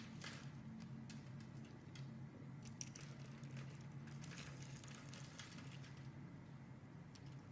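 A solid light green bar of soap is held in the hand and scraped into crumbs with a metal blade. Soft, crumbly scraping and bright crackling ticks sit over a steady low hum at a quiet, even level throughout.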